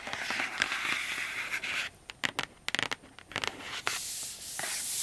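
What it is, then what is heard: Cardboard box. Long acrylic nails scratch across the lid of a large, closed, black matte cardboard inner keyboard box resting on a rug, making a dense, bright rasping hiss. Midway the scratching stops for a series of sharp, crisp taps on the lid, then the steady bright scratching returns to the end.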